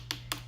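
An acrylic nail is tapped with a nail file, giving two short, bright, dry clicks over a low steady hum. The sharp tapping shows the acrylic nail is good and dry.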